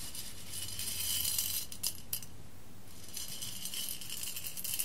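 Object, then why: Roasted coffee beans on a glass plate. Fingertips with long red nails dig into a heap of whole roasted coffee beans on an embossed glass plate, raking the pile and letting the beans fall back onto the glass. The result is a dense, bright rattle of tiny clicks and clinks that swells and fades over a low, steady hum.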